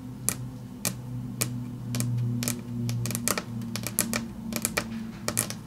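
Long natural fingernails tap and click in rapid runs on a large, flat, solid grey wood-grain tabletop, likely laminate over board. About eighteen sharp, bright clicks come in irregular clusters, each dying away almost instantly. A steady low hum runs underneath throughout.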